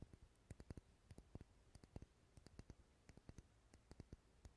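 A large dark red solid wax pillar candle is held close to the microphone while fingernails tap rapidly on its side. The result is a quiet run of short, dry clicking taps with a soft low thump beneath them and little ring.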